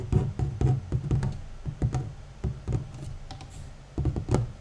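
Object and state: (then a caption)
Cardboard puzzle box lid. The large, flat, hollow cardboard lid of a 1000-piece Jan van Haasteren jigsaw puzzle box, lying on top of the assembled puzzle, is tapped and scratched with short nails and the fingertips of both hands. An irregular run of quick, dull, hollow taps with a low body around 117 Hz dies away almost at once, and faint scratching fills the gaps between them.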